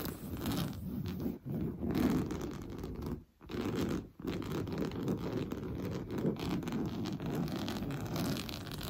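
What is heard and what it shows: A large, soft, stuffed sofa cushion covered in orange coarse-weave fabric is scratched fast by medium-length, blue-painted nails on both hands. The result is a dense, continuous, scratchy rasp, mostly low and muffled with little brightness, broken by brief pauses near 1.4, 3.3 and 4.1 seconds.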